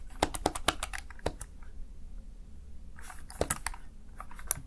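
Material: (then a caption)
Plastic. A Razer Tartarus Chroma plastic gaming keypad has its keys pressed rapidly by fingertips, giving quick, bright clicks. The clicks come in two bursts with a quiet gap between them, over a low background hum.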